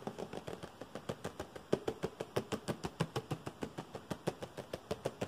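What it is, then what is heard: Cardboard box tapped with fingernails. A small, hollow blue and white printed cardboard product box is held in one hand and tapped and scratched fast with fingernails. About 34 quick, dry, hollow taps land in an uneven rhythm, each dying away almost instantly, with a papery scratch between them and a mid-pitched body around 390 Hz.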